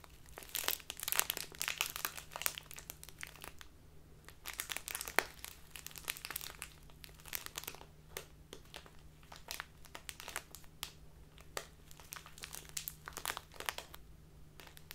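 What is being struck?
Plastic bag of loose tea.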